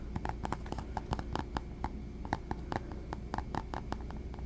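Fingertips tap and scratch a small, soft, hollow black textured faux leather pouch held close up. About twenty short, dull, low thuds come in an uneven rhythm, with faint scratching and a steady low hum between them.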